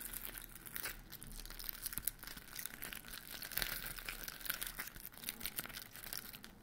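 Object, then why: Glitter-coated foam Christmas bauble. A large white glitter-coated foam Christmas bauble with silver and grey stars is scratched and tapped by fingernails on its rough surface, then hung by its string near the mic. Dense, bright crinkling and scratchy rasps come with many short, sharp ticks.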